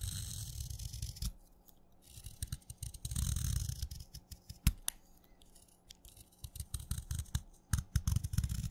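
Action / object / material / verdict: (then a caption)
scrape / chalk stick shaved with a knife / chalk / none. A craft knife shaves flakes off the surface of a solid wet red chalk stick held upright. Soft, gritty scraping strokes come in uneven bursts with sharp little clicks, over a low rumble and with brief bright hiss in the quieter gaps.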